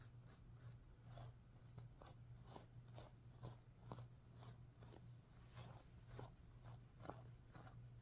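Fingertips and nails rub and scratch the sequins on the pink side of a stuffed sequin pillow. Soft, crisp scratching clicks come at an uneven pace of roughly two per second, each with a brief bright edge, over a steady low hum.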